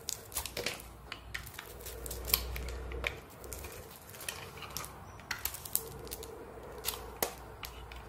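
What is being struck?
Bar of soap shaved with a knife blade.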